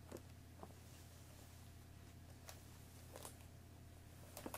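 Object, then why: Cardboard tea box wrapped in plastic film. Long nails tap the top of a hollow cardboard Earl Grey tea box wrapped in cellophane plastic film, held and resting on a wooden table. Five soft, crisp taps with a bright papery crackle sound sparsely over a quiet, steady low hum, each dying away quickly.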